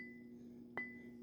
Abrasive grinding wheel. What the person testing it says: if you hear it it rings